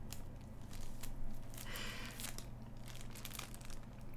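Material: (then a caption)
Plastic film. Long nails scratch and tap the thin plastic film covering a large, flat, assembled cardboard jigsaw puzzle lying on fabric. The result is soft, crinkly scratching with brief bright rustling bursts over a steady low hum.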